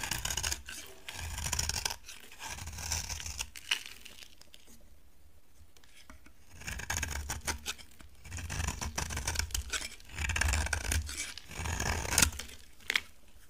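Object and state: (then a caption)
Dry bar soap being shaved. A utility knife blade shaves a dry, solid cream bar of soap, peeling curls off its surface. Bursts of dry, crisp scraping with a bright, hissy edge come in repeated strokes, separated by a quiet pause in the middle and ending with a few sharp ticks.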